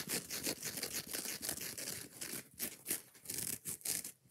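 Long nails scratch fast and unevenly across the rough green nylon scouring side of a foam kitchen sponge, with the sponge also squeezed in the hand. The result is a rapid run of dry, bright, hissy rasps and crackles that stop short with almost no ring.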